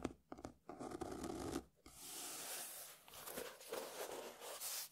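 Fingernails and fingertips scratch across the paper cover of a closed beige hardcover book lying on a table. The sound is a dry, papery scraping with short bursts in the first two seconds, then a steadier, brighter rasping that swells and fades.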